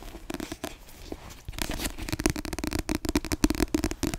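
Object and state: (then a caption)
Paperback book. Long yellow nails scratch and tap the glossy paper back cover of a solid, dark-covered paperback book held close up. A soft, faint scratching in the first second and a half gives way to louder, rapid, irregular taps and scrapes. These are dry, short clicks with a low-mid body and a crackly, papery brightness.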